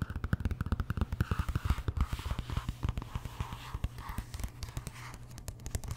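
Long nails tap rapidly on the cover of a large glossy paperback art book, making quick, dull, low-pitched knocks. The tapping then gives way to softer scratching and papery rustles as the cover is opened.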